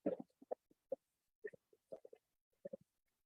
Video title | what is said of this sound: Sumi-e Bamboo (9/15/23 livestream recording) | Oh, you can hear that. There's a ceramic ball.